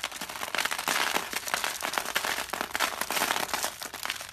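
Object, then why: Carved soap curls. Fingertips squeeze and crush a dry, brittle curl of carved soap, one of several orange-yellow rose shapes and loose curls resting on paper. A dense run of sharp, bright crackles and crunches continues with no low end. The curl crumbles into thin layered flakes.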